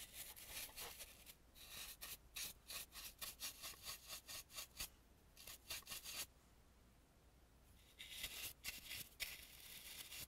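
A dry bristle brush is rubbed around the mouth and nose carvings of an antique painted, carved wooden mask held in the hand. The result is a run of bright, scratchy brushing strokes in quick rhythmic bursts, then a near-silent pause of over a second before the brushing resumes.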